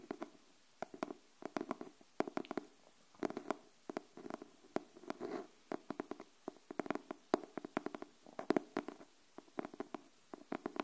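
Long nails tap the cardboard cover of a pink hardcover paper notebook held upright, in irregular clusters of quick, soft taps. Each tap is a short, dry click with a hollow low-mid body and almost no ring. The result is a quiet, gentle, uneven tapping pattern.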